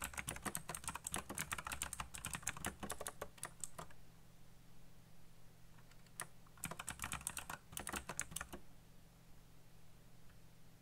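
Fingertips type fast on a backlit plastic mechanical keyboard with black plastic keycaps, producing bursts of sharp, bright clicky keystrokes. A dense run of clacks is followed by a pause with a steady low hum, then a second burst of rapid typing.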